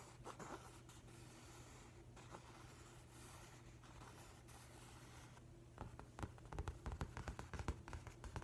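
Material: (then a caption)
Paper. Fingertips and nails rub and trace across the paper cover of a large, flat hardcover book with a printed nautilus cover, held upright. Soft, scratchy brushing runs over a steady low hum, then turns into quicker, louder bursts of scraping and tapping toward the end.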